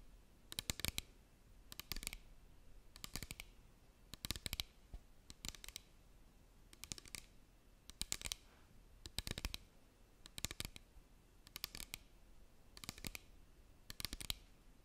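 A small clear plastic bottle with a cap and white label, partly filled with liquid, is held in both hands and tapped and scratched with long green nails. Twelve short bursts of rapid, bright plastic clicks and scratches come at a steady pace about every second and a quarter, with quiet pauses between them.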